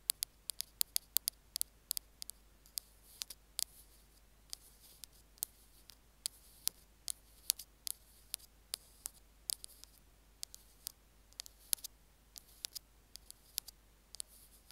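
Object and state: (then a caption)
Plastic earphone remote being scratched. Metal spatula tools scratch and tap at the casing of a small white plastic Apple earphone mic/remote. About 46 sharp, bright clicks come in irregular bursts over a quiet hiss, each dying away almost at once with almost no low end.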